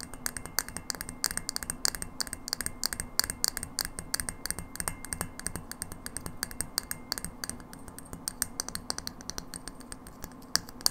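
A hollow frosted glass light bulb, held upright, is tapped rapidly and continuously by long nails. The taps are quick, bright, glassy clicks that die away almost instantly, over a faint steady low hum.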